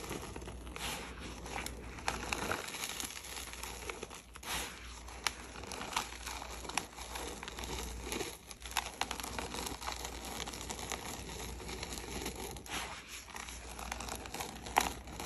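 Gloved hands squeeze and crumble dry, pinkish crushed red gym chalk powder on a plate, letting handfuls fall. A steady, close crinkling crunch fills the clip, with bright crackles and soft patters as the powder breaks apart and drops.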